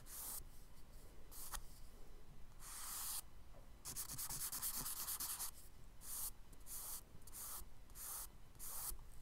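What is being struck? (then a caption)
Charcoal stick on kraft paper sketchbook page. A charcoal stick held flat rubs broad strokes across a page of a spiral kraft paper sketchbook. The result is a run of soft, bright, hissing scrapes with brief gaps between strokes.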